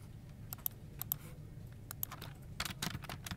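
Fingertips type on a dark plastic office keyboard resting on a desk, one hand at first and then both hands. Sharp, bright, dry key clicks come in irregular bursts over a steady low hum, growing busier and denser toward the end.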